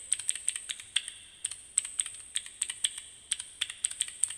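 Fingertips and nails rapidly click the keyboard keycaps of a small plastic fidget cube held in both hands. The result is a quick, uneven run of crisp, bright plastic clicks that stop dead with no ring and have almost no low end.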